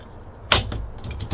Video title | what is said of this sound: Training My DUCK DOG - Advanced Pt. 1 | it's tight shake it doesn't rattle or nothin like that